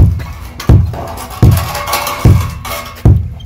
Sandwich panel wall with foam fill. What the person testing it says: 둔탁한 소리가 나고 상당히 튼튼하고요